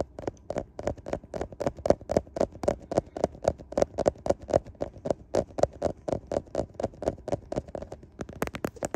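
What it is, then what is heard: Smartphone glass back and camera lenses tapped. Fingertips tap rapidly on the glass back and camera lenses of a handheld smartphone with a metal frame. About forty short, dry clicks land at a quick, uneven pace, each with a hollow knock near 580 Hz. The final taps at the end sound brighter and sharper.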